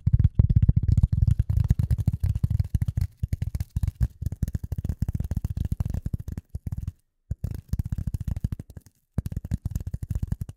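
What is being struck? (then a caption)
Polyethylene foam sheet. A rectangular dark gray polyethylene foam sheet is held in front of the microphone and tapped and scratched with the long nails of both hands. The result is a rapid, dense stream of short, dull, low thumps and soft scratches with almost no ring, broken by brief silent pauses near the seven- and nine-second marks.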